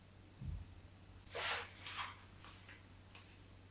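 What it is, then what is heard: Bar soap scored with a knife. A craft knife blade scores long diagonal lines into a solid white bar of soap held in the hand. A soft low thump comes first, then bright, breathy scraping strokes, two strong and a few fainter ones, over a steady low hum.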